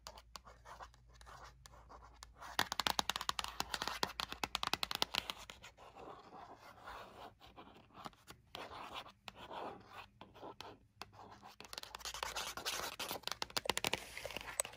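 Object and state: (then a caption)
Cardboard and plastic blister pack. Long nails tap and scratch the cardboard backing card of a Hot Wheels toy car packaged under a clear plastic blister. Quick, dense bursts of dry, crisp taps mix with papery scratching, heavy in the high frequencies with almost no low end. The strokes come in busy clusters separated by brief pauses.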